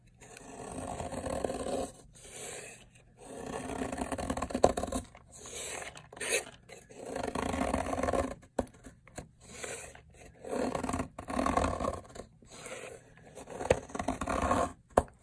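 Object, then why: Bar of soap scraped with a metal blade. A metal blade scrapes along a long, solid red bar of dried soap, shaving off layered flakes. Repeated dry, crisp scraping strokes come in bursts separated by short pauses, with a raspy, mid-toned crunch.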